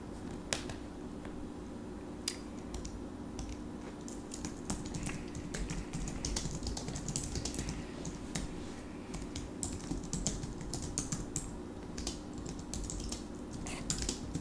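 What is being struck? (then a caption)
Slim plastic tablet keyboard. A small, slim plastic keyboard with backlit keys, attached to a tablet in a folding stand on a padded table, is typed on quickly with the fingertips of both hands. Rapid, light clicky key taps with bright edges run throughout over a steady low hum.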